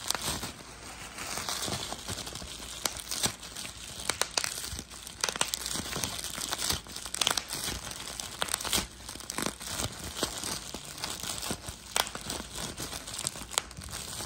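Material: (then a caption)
Plastic. A hand-held sheet of clear plastic bubble wrap with air-filled bubbles is crumpled while the thumb and fingers squeeze and pop the bubbles. Steady bright crinkling runs throughout, punctuated by frequent sharp, short pops.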